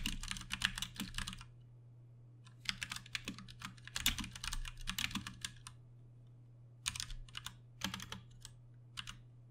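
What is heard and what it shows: Both hands tap with their fingertips on a Ducky One 2 Mini, a compact 60% RGB-backlit mechanical keyboard with plastic keycaps and Cherry MX Brown switches, resting on a desk. Bursts of quick, bright, sharp keystroke clacks come in uneven runs separated by short pauses. A steady low hum runs underneath throughout.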